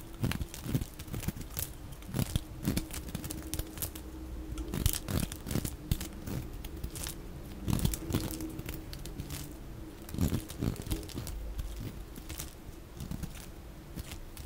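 A metal utility-knife blade carves chips and a notch into a solid, dry, oval purple bar of soap held in the hand, with the shavings piling below, played at double speed. Dense, rapid, crunchy scraping and crackling cuts follow one another with short, dry attacks and no ring. A few louder, sharper slices stand out.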